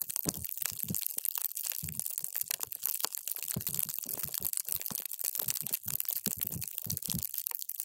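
A paper straw is pushed down into a clear plastic cup full of multicolored water gel beads, crushing them. It makes a dense, continuous run of quick wet crunches and crackles, bright and crisp with soft low thumps, and each squish dies away almost instantly.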